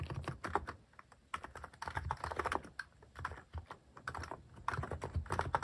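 Fingertips type steadily on a cream plastic-case mechanical keyboard fitted with cat and paw-shaped plastic keycaps, pressing keys repeatedly. Each keystroke gives a short, dry clack with a soft low thud beneath a mid-range click, dying away almost instantly. The presses come in uneven bursts with brief quieter pauses between them.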